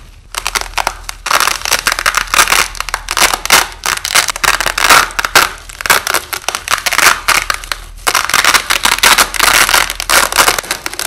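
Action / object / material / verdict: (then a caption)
scrape / nylon hook-and-loop tape / nylon / none. A strip of white nylon hook-and-loop tape, held up close under red light, is slowly ripped apart by fingers, with the audio slowed down. It makes a long, dense crackling tear of rapid bright snaps, broken by short pauses near 1.3 and 8 seconds before the ripping resumes.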